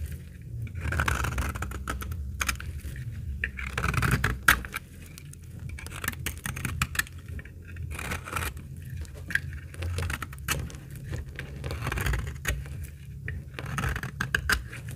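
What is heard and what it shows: A utility blade shaves flakes from a very old, solid, amber, translucent dry laundry soap bar held in the hand. Repeated dry scraping strokes and crisp crackling snaps come in waves over a steady low rumble.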